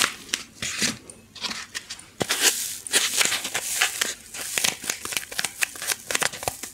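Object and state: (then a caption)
Styrofoam packing block. A white styrofoam packing insert of solid light foam is rubbed and scratched with long nails right next to the microphone. The result is a run of bright, dry squeaks and scratchy crackles. Short sharp scrapes sit over softer rubbing, and the sound is mostly high with almost no low end.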